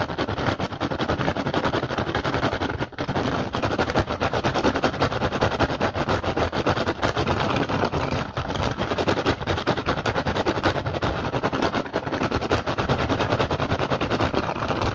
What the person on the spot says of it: FAST & AGGRESSIVE RATTAN BASKET TAPPING & SCRATCHING